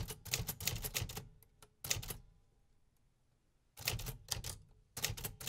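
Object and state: Metal typewriter.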